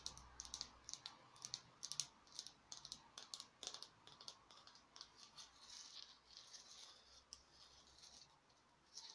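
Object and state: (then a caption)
Small glitter-coated foam pumpkin. A small, pale orange craft pumpkin made of glitter-coated foam is held in the fingers and tapped with long nails. The taps are quick, quiet, crisp clicks with almost no low end and no ring. Around the middle they blend into a softer, scratchy patter, and a few more clicks come at the end.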